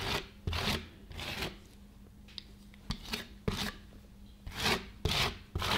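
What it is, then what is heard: Frozen ice cream sheet scraped on a steel cold plate. A gloved hand repeatedly scrapes and pats a thin frozen ice cream sheet on a stainless steel cold plate with a flat steel spatula. Broad, bright rasping scrape strokes alternate with sharp taps over a low steady hum. About nine distinct strokes are heard at an uneven pace.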